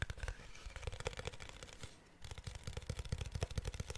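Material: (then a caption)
Glass. A protective case made of glass is tapped with quick, light strikes, giving a rapid run of short, dry taps with a dull, low-heavy body and a faint bright edge. The tapping pauses briefly near the middle, then resumes at the same brisk pace, with each tap dying away almost instantly.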